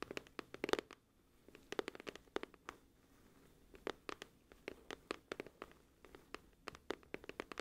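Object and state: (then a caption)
Cardboard album case tapped with fingernails. Long acrylic nails tap and scratch the front and edge of a flat, hollow, glossy printed cardboard music album case, about CD-to-book size, held in one hand. The result is a quiet, irregular run of crisp, dry clicks and brief scratches with a bright edge and almost no ring, with short lulls in between.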